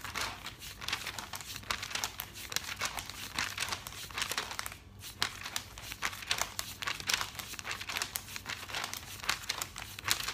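Fingertips quickly riffle and flip the glossy paper pages of a thick paper catalog lying open on a table. The result is a dense, bright stream of crisp crinkling and rustling, with a brief lull midway before the flipping resumes.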